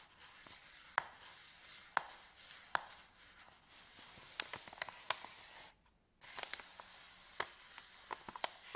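A folded, empty white paper bag is rubbed and crinkled by palms and fingertips on a table. Sharp, bright crackles pop out over a steady papery rustle, with a brief near-silent pause just before the six-second mark before the crinkling resumes.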